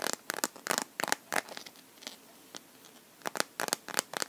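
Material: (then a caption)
Plastic. Fingernails tap and scratch the back and edges of a clear plastic liquid-glitter phone case on a smartphone held in both hands. Bursts of sharp, bright clicks with crinkly scratching come in quick clusters, thin out to faint scrapes in the middle, then return in another run of taps. The sound is dry and brittle, with almost no low end and no ring after each tap.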